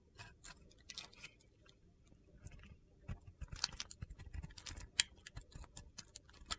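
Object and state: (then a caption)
Soap bar carved with a knife. A utility knife blade carves and scrapes a mostly white solid soap bar with a remaining blue glitter edge. Quiet, crisp, gritty cuts and scrapes come in an irregular series of short, dry, high-pitched crunches and clicks, with a few sharper snaps standing out.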